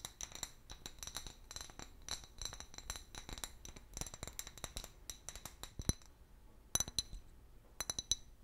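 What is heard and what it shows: Long nails tap rapidly on an empty, hollow clear glass bottle with a long neck and a pale paper label, making a dense run of bright, dry clicks and clinks with faint high glassy tones. After about six seconds the tapping thins out into a few scattered, sharper taps.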